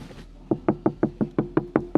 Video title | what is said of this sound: Land Rover Defender Soundproofing: Quiet Cabin, Amazing Sound! | so much more solid I'm sure that's coming across well cuz that's very very noticeable